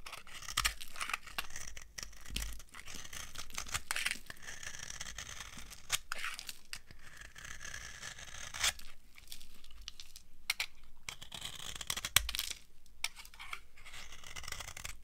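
A metal blade carves and scrapes an old, dry beige soap bar, producing a steady run of crunchy, crumbling scrapes and crackles. The dense, bright texture has short louder bursts as flakes break away.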